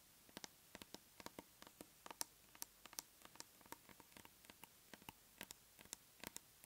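Long nails tap the lid of a large round plastic tub of aloe soothing gel held in both hands. The result is an uneven run of quick, dry, bright clicks with almost no low end, each dying away instantly over a very quiet background.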